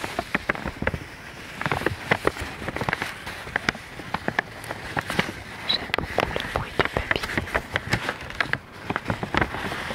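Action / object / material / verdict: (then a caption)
scrape / thin sheet of paper / paper / none. A thin folded sheet of white paper is held in both hands close to the microphone while the fingertips crinkle and rub it. Many sharp, bright crackles and snaps pop out over a steady papery hiss, continuing unevenly for the full ten seconds.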